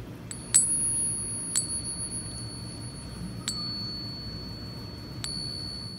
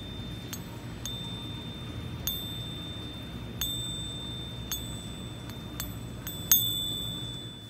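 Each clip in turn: First: genuine gold bullion coin, bell-like ring. Second: genuine pure gold bullion coin with a duller ring.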